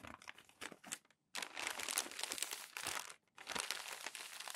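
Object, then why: Crumpled glossy magazine paper. Fingertips and palms smooth and rub a stack of crumpled glossy magazine pages flat, making bright, crisp crinkling and rustling that comes in dense bursts. Two brief silent pauses break the sound before the crackling resumes.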